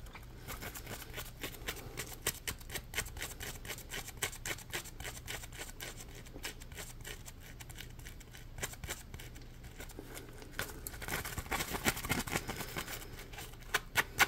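Fingertips and nails scratch along the ridges of a yellow, palm-sized, solid polymer foam Scrub Daddy sponge. The result is a dense run of quick, dry, crackling scratches with bright, sharp clicks over a faint steady low hum. The scratching grows busier and louder toward the end.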